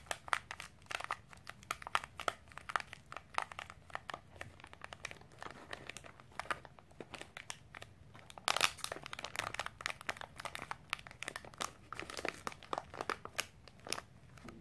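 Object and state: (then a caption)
Plastic snack wrapper crinkled. A sealed Milo snack bar in a plastic wrapper is turned and crinkled with long pink nails and fingertips and scratched along the barcode side. The result is a dense stream of sharp, bright crinkles and scratchy clicks with little low end. A louder burst of crinkling comes near the middle.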